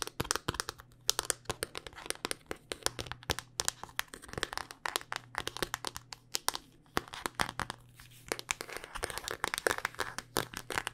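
A handheld smartphone in a solid black rugged hard-plastic case is tapped and scratched with long dark-painted nails. Rapid, sharp, bright clicks and brief scratchy scrapes come in quick irregular bursts with almost no ring, over a faint steady low hum.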